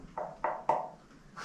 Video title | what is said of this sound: Colossal cave | it sounds like it's hollow or made of metal. It's neither. Just made of completely pure calsite crystal. gives it this nice ability to reverberate sound.